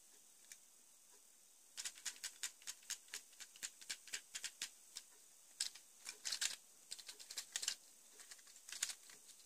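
An assembled purple and grey ABS plastic Lego Joker Notorious Lowrider car (Batman Movie set 70906), hand-sized and mostly hollow, is held in one hand and tapped with the fingertips of the other across its studded top. It gives quick, dry, bright plastic clicks like typing, in irregular bursts of about thirty taps with a short pause midway. Each click dies almost instantly, with almost no low end and a quiet background.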